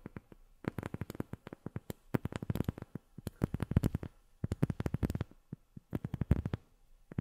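Long fingernails tap on a rubber sheet in quick, irregular bursts separated by brief pauses. Each tap is a short, dull, low-pitched thud that stops at once with no ring. The result is a soft, muffled tapping pattern.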